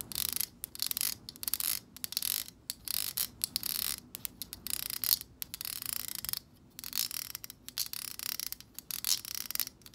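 Long acrylic nails flick and tap the tips of the stiff plastic bristles on a black plastic hair brush. The result is bursts of bright, crisp, rapid clicking and ticking with almost no low end, broken by short pauses, each tick dying away almost instantly.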